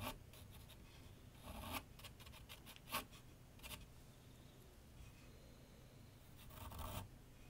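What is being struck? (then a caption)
Graphite pencil on a paper sheet over a drawing board. A graphite pencil sketches lines across a large flat sheet of white paper on a board on an easel, giving quiet, dry scratching strokes. Short bright bursts stand out near the start and end, over a soft low background rumble.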